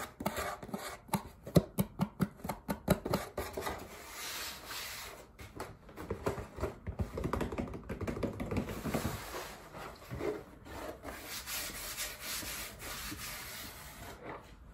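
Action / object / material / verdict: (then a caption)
tap / corrugated cardboard box / cardboard / none. A flat, long, hollow corrugated cardboard product box with a printed red panel and a white label is held in one hand while fingertips and nails tap and scratch across its surface. Quick, sharp taps come first, then give way to a steady dry scratching that swells and fades for the rest of the clip.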